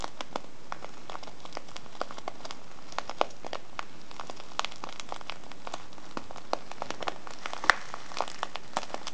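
A small, filled brown kraft paper tea bag with a clear window is rubbed and scratched by a fingertip and nails on the window and sides. The result is a steady stream of quiet, irregular crinkles and sharp, bright scratchy ticks over a faint hiss.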